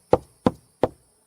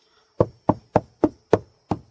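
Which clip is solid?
The first.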